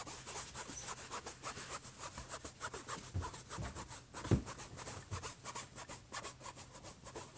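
Fingertips slowly rub and scratch across the surface of a closed, silver, hollow HP laptop lid. The result is a steady run of rhythmic, rasping strokes with a bright, hissy edge, and a few dull, low knocks come through the hollow lid partway through.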